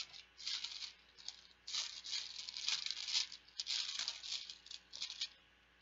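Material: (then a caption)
Plastic. Plastic Bananagrams letter tiles are shaken and rattled together, giving a dense, bright clatter in bursts with short pauses between them. The sound sits almost entirely in the high range, with no low end.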